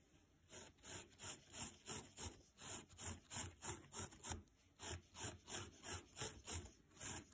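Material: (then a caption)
Nylon. A thin green nylon scouring pad is held flat and rubbed first with a makeup brush, then with a spoolie brush. About 21 quick, crisp, scratchy brushing strokes follow in a steady back-and-forth rhythm. Each stroke is bright and papery with a faint low thump underneath.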